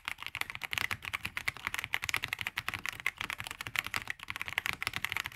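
Fingertips of both hands type continuously on a black VortexSeries GT65 LITE 65% mechanical keyboard with plastic keycaps, resting on a grey desk. A steady stream of quick, bright plastic clacks centers around 2.2 kHz, with almost no low end and no ring after each keystroke.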